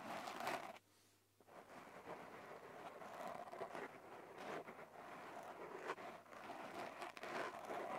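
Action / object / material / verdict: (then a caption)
scrape / open-cell foam microphone windscreen / foam / none. Painted medium-length fingernails and the fingertips of both hands scratch and rub a small, soft black open-cell foam windscreen over a handheld recorder's microphone. A close, dense crackling and scraping rustle fills the clip, broken by a brief near-silent pause just before the second mark. Several sharper, brighter scratches then rise out of the steady rubbing.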